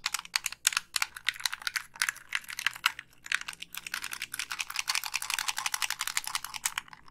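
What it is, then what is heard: Plastic game controller. Long pink nails tap the casing and click the buttons of a hollow, black plastic Xbox 360 gamepad. Rapid, dense, bright clicks and taps run continuously, each dry and short with almost no low end.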